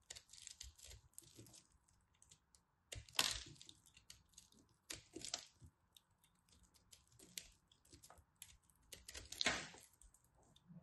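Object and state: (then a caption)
Pressed soap ball carved and scraped. A small knife carves and scrapes a solid, crumbly pastel pressed soap ball, and soap chips fall off. The sound is quiet, dry and bright: crisp crunching and crackling scrapes in short bursts with almost no low end, a few louder cuts standing out.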